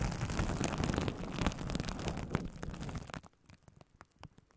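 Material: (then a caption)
Plastic. Plastic bubble wrap wrapped around a microphone is gripped, scratched and rubbed with long nails and fingertips of both hands. The result is a dense, rumbling crackle with heavy low-end thumps for about three seconds, which then thins out into sparse, quiet crinkles and clicks.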